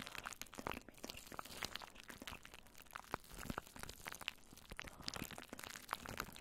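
Long nails scratch and stroke crinkly plastic cling wrap stretched over a microphone head. Dense, quiet crackling and crinkling fills the clip, with many sharp, bright clicks and snaps scattered throughout. The sounds are dry and die out almost instantly.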